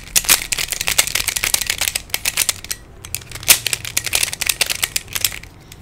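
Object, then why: Plastic pyramid twisty puzzle. Fingertips twist the layers of a hand-sized black plastic Pyraminx, a pyramid twisty puzzle with coloured stickers and a hollow mechanism. It gives quick runs of bright, rattly plastic clicks with almost no low end. There is a brief lull just before the 3-second mark, then a second flurry of twisting.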